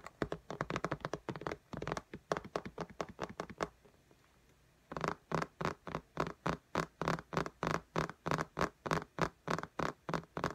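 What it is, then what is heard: Fingernails tapping a glass tablet screen. Long nails tap and scratch on the glass screen of an iPad lying flat in a pink case. A burst of rapid, crisp clicking taps stops for a brief quiet pause, then resumes as a steady, evenly spaced series of sharp taps.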